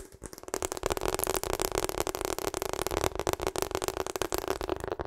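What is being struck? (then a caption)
Rubber hot water bottle. Long acrylic nails rapidly tap and scratch across the face of a hollow pink rubber hot water bottle held behind the microphone. After a brief quieter start, it becomes a dense, continuous stream of quick, dry clicks and scrapes with a steady hollow resonance in the low-mid range and a bright, crisp edge.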